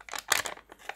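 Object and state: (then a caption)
Crisp banknote in good condition. A 5000 tenge paper banknote, in circulation only briefly, is flexed close to the microphone. It gives a series of short, crisp, bright crunches. The crunch shows the note is in relatively good condition, and crunch is one way to feel genuine banknote paper.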